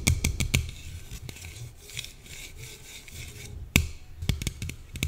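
Long painted nails tap and scratch along the side of a small, slim red Coca-Cola aluminium can held in one hand. Sharp, bright clicking taps come in quick bursts at the start and end, with a soft, low scratching rub filling the gaps between them.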